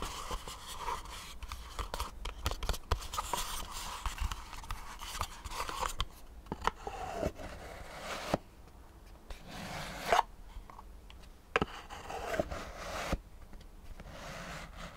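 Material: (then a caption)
Cardboard. Fingertips and nails scratch and tap the surfaces of a small, dark, hollow cardboard business card box held close to the microphone. Dense, dry scratching rasps run throughout, punctuated by sharp, short taps that die away almost instantly, with bright, papery scraping and a hollow low thump beneath.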